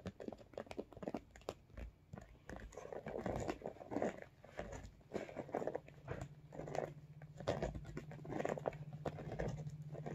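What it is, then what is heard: Holographic vinyl makeup bag. Fingernails tap and scratch across the top and sides of a medium, soft-sided iridescent holographic vinyl cosmetic bag. Quick, dull taps and crinkly scratching patter continuously in the lower midrange, with very little brightness and a faint steady low hum beneath.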